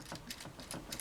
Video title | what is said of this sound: MG ZZ Gundam -Part 4 transformation- Double Zeta Gunpla review ガンプラ ガンダム | you can hear a few things moving but otherwise ize it stayed in place fairly well